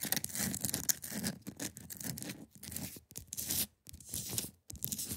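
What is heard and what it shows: Long pointed nails scratch across the top and sides of a large, solid, clear ice block resting on a fabric surface. The result is a bright, dry, crackly scraping in short, uneven strokes with brief silent pauses between passes and no ringing.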